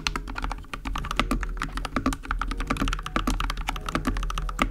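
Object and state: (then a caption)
Mechanical keyboard with plastic keycaps. Fingertips type rapidly on a small 60% mechanical keyboard with linear switches and pastel pink, white and teal plastic keycaps, resting on a crocheted mat on a wooden desk. A fast, uneven stream of short, dry keystrokes with a deep, rounded thock rises over a steady low hum. Each press dies away almost instantly.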